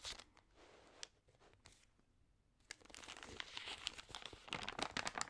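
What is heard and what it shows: Fingertips rub and turn the wavy, damp pages of an open, water-sprayed thin paper magazine. Soft, breathy rustling and a few light ticks fade to near silence, then a dense, bright crinkling builds and grows louder to the end.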